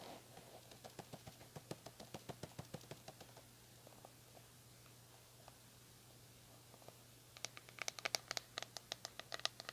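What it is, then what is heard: Plastic paddle hairbrush. Nails scratch the bristles of a red plastic paddle hairbrush in quick, crisp clicks, then the sound thins to faint scattered ticks. After the brush is flipped, long nails tap and scratch its smooth, hollow plastic back in sharper, brighter taps. A low steady hum runs underneath throughout.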